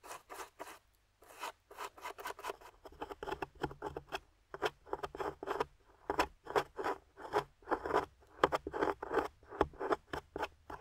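Long-nailed fingers brush a grey plaster fossil dig block holding a yellow fossil, then scrape it with a metal pick tool. The result is a quick series of short, dry, gritty scratches and scrapes in rhythmic bursts, mostly in the mid range with little bass.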